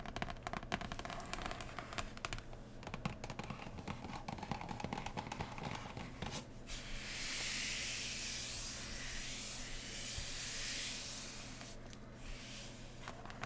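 Long nails of both hands rapidly tap and scratch on the lid of a large, printed cardboard board game box lying flat, producing hollow, dense clicking taps for the first six seconds. A smoother, hissing scratch takes over for about four seconds, then a few scattered taps return at the end.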